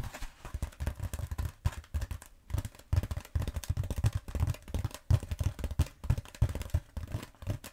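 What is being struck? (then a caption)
Bead foam roller. Long nails on both hands tap and scratch a long black bead foam roller held horizontally. A rapid, uneven stream of soft, dull taps sits mostly in the low end, each dying away almost at once, with faint scratchy rustling between them.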